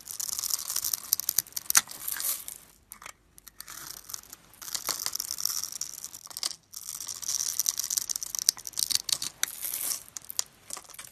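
A metal blade carves and scrapes small cubes off the scored surface of a solid, hand-sized white bar of soap held in the fingers. The sound is a dry, bright crackling and scraping made of many tiny clicks, coming in bursts with short quiet gaps near 3 and 6.5 seconds.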